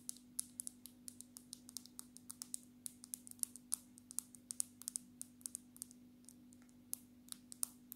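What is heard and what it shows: Long natural fingernails of both hands tap on the glass back of a black smartphone in a dark red case. A fast, uneven run of many sharp, bright clicks plays over a steady low hum.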